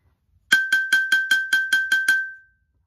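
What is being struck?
Upturned stainless steel saucepan struck with a wooden spoon.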